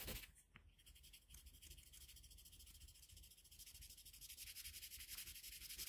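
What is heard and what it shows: A colored pencil held in a metal extender is rubbed steadily back and forth across a flat sheet of drawing paper on a table, shading a red-pencil Kirby sketch. Quiet, bright, scratchy strokes blend into a continuous rhythmic rubbing hiss that grows slightly louder toward the end.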